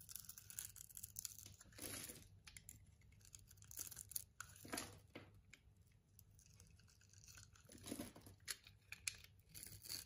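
A metal box-cutter blade scrapes and cuts thin shavings off a solid purple-and-white striped bar of soap held in the palm. Bright, crunchy scraping bursts come in uneven strokes separated by quieter, faint crinkling.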